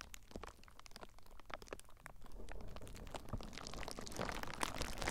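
Fingertips squeeze clear plastic bubble wrap wrapped around a recorder, then press and scratch the bubbles. Dense, irregular crinkling crackles and sharp bright snaps play over a low rumble, growing busier and louder toward the end.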